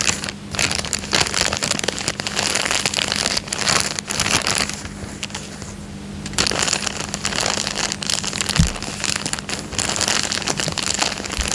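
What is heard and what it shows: Fingertips scratch and crinkle the surface of a thin, clear, empty printed plastic coin bag resting on a fabric couch. Dense, bright crackling and crinkling runs throughout, easing into a quieter, softer rustle around the middle before picking back up. A faint, steady low hum sits underneath.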